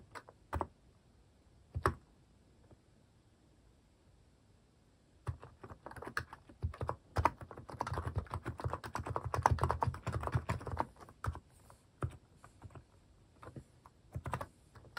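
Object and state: Plastic mechanical keyboard.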